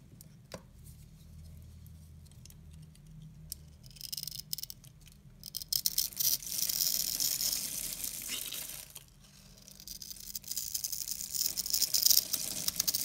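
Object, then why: Bar of soap cut with a knife blade. A palm-sized, peach-coloured dry bar soap is held in one hand while a pink-handled utility knife scratches and carves a grid into its surface, shaving off soap strands. The sound is a bright, high-pitched dry scraping and crisp crackling that starts quiet and grows denser and louder after about 4 seconds. It briefly dips near 9 seconds, then resumes.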